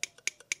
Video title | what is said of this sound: Secrets of Jaguar XK8 Ep 110 Wash & Pump | if you shake it you can hear the float which is in here